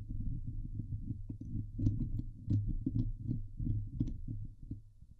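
Long nails of both hands scratch the sides of a Blue Yeti microphone's hollow steel mesh dome grille. The result is a dense, muffled low rumble of rapid scraping strokes, broken by a few sharper scratches that flick up into brief bright ticks before fading.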